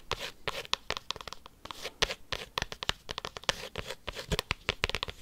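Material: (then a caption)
Cork. A cork coaster is tapped and scratched quickly with paperclips. The result is a rapid run of sharp, dry clicks and scratchy rasps that are mostly bright and high. Each one dies away almost instantly.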